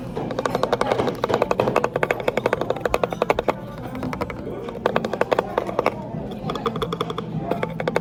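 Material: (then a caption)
Wood. Fingers tap rapidly on a wooden serving tray at a cafe, making quick, dry clicks that stop almost at once, with background music playing underneath. The taps come in bursts, with brief lulls around the middle of the clip and again near six seconds.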